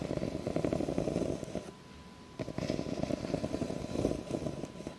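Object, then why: Ribbed plastic cup. Long nails scratch along the ridges of an empty, clear ribbed plastic cup held tilted, making a dense, raspy, buzzing rattle concentrated in the low-mid range. The scratching pauses briefly near the middle, then resumes just as rough, with a faint steady tone underneath throughout.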